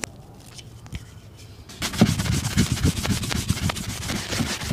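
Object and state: Leather boot being brushed.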